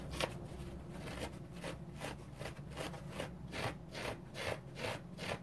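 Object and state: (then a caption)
Orange foam sponge scratched with fingernails. Fingernails rub and scratch a dry orange foam sponge in quiet, steady back-and-forth strokes. Each stroke is a soft, bright scratchy swish over a low, muffled rumble.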